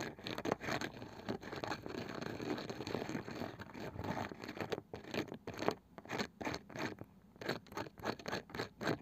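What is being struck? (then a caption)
Small round wooden box with woven cane side. Long nails of both hands tap and scratch the light wooden lid of a small, round, seemingly hollow wooden box with a woven cane side. The first half is mostly dense, continuous scratching. It then gives way to quicker, separate dry taps with almost no ring.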